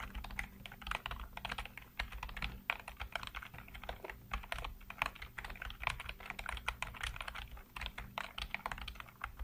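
Fingertips type rapidly across a full-size black plastic keyboard with hollow keycaps, producing a dense stream of short, clicky, clacking taps that cut off almost instantly. A steady low hum runs underneath the whole time.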